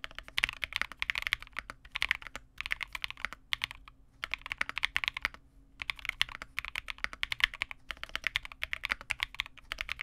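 A Vega65 custom 65% mechanical keyboard with re-lubed Cobalt switches, white plastic keycaps and a dark case is typed on continuously with the fingertips of both hands. It produces rapid, bright, short clacks centred around 2 kHz with almost no low end. The bursts of keystrokes are broken by brief pauses.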